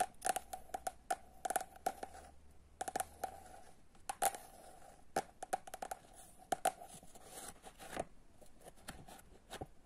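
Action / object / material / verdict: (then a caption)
tap / paperback book, paper cover / paper / none. Long nails tap and scratch the cover and edge of the same paperback book. Quick, dry clicks come in uneven bursts, each with a faint mid-pitched ring, between softer scratching. A brief low hum sits under the first few seconds.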